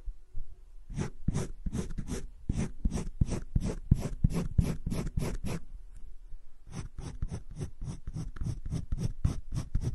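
Fingertips rub and scratch the tip of a teal colored pencil across a flat page of cream drawing paper in a spiral-bound drawing book lying on a table, shading a green leaf drawing. Quick, evenly paced scratchy strokes rasp across the paper, with a brief pause near the middle before the strokes resume at a steady rhythm.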